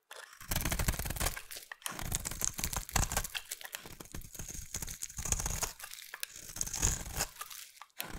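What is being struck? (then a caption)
Solid bar soap. A solid light blue bar of soap, held in hand, is shaved with a utility knife blade. The result is a continuous run of crisp, crunchy scraping strokes with brief pauses between passes, with a bright crinkly texture over a soft low rumble.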